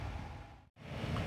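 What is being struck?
Nothing is struck.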